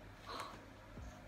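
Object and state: Nothing is struck.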